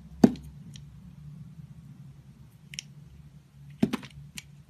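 A blade from a box cutter cuts and scrapes thin slices from a solid, firm, rectangular layered rainbow soap bar with rainbow stripes, held between fingers with pink nails. Short, dry, crisp clicks and light scrapes stand out sharply, with bright edges, over a quiet low hum. They come in a sparse scatter, one strong cut at the start and a cluster of snaps near the end.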